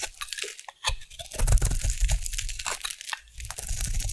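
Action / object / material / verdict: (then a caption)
scrape / bar of soap cut with a metal blade / soap / none. A metal blade carves a solid oval bar of pink soap held in the hand into shavings. It makes a dense run of bright, crunchy crackles and scrapes over a low, muffled rumble. The crunching swells in the middle, eases off, and picks up again at the end.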